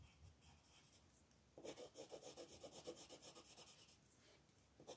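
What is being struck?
Colored pencil rubbed on a thin paper sheet on a table.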